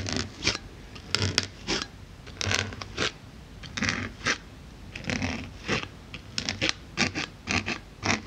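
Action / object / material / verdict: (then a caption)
scrape / polyethylene foam block / polyethylene foam / none. A wooden-handled needle tool repeatedly pokes and scratches across the top surface of a solid white polyethylene foam block. The result is a series of irregular, bright, dry scratching and squeaking bursts with a faint low rumble underneath, each stroke ending abruptly with no ring.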